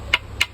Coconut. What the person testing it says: Pag pipi, yung mahina ang tunog. pag mahina ang tunog, ay makapuno.